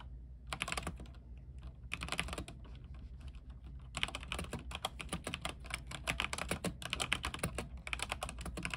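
An RGB-backlit mechanical keyboard with white plastic keycaps on an aluminium frame is typed on continuously with the fingertips of both hands. Bursts of short, bright clicking keystrokes alternate with quieter stretches, and a steady low hum runs underneath throughout.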